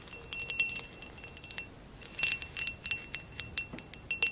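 Long acrylic nails tap and scratch a hollow, empty amber glass vase with a woven relief pattern, held in the hands. Quick, irregular bright clinks with a faint ring near 2.7 kHz come over soft scratching, each dying away almost at once. A denser flurry of taps lands midway through.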